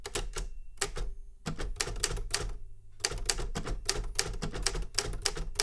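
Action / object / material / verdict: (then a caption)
tap / metal manual typewriter / metal / none. Fingertips type on the keys of a Remington Super Riter metal manual typewriter, giving a quick run of sharp, bright key strikes with a low thud beneath each. The strikes come in short bursts separated by brief pauses, each one cut off almost instantly.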